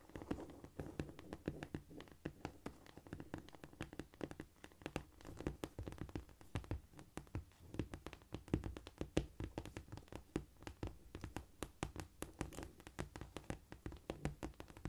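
Fingers rapidly tap and scratch across a cork floor, making a dense run of short, dull, low-pitched taps with little ring. The quick, soft hits come in scurrying clusters throughout, with a faint brushing scrape between them.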